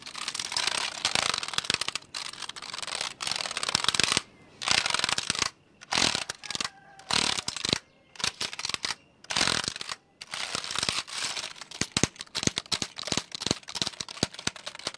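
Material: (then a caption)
Plastic. A black plastic computer keyboard is held sideways at the chest while a fingertip taps and presses its keys. Quick, bright, dry clicks and taps come in bursts with short silent gaps, mostly high-pitched with very little low end.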